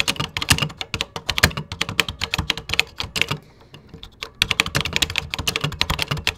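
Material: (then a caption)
Plastic. Fingertips type quickly on a 1980s vintage computer keyboard with cream plastic keycaps, producing a dense run of bright, sharp plastic clacks with a low thump under each press. The typing pauses briefly about halfway through, then resumes at the same brisk pace.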